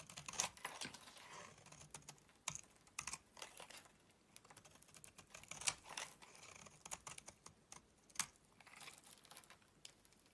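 A utility knife blade shaves flakes off a solid rectangular yellow bar of soap held in the palm. Quiet, bright, crisp scraping strokes come in irregular bursts with sharp little clicks and very little low end. Each stroke dies away almost at once.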